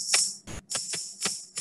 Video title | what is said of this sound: Early Childhood Education (ECE) Early Stimulation Bathing Feeding & Dressing the Baby | it is making that sound because the balls are hitting up on against this clear thing right here